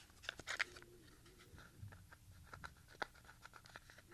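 A small, hollow Maxell XLII compact cassette in a grey opaque plastic shell with a white label strip is held in both hands and turned over while fingertips tap and click the shell. Quiet, bright, dry plastic clicks and taps sound in an irregular series over a soft handling rustle, each dying away almost instantly.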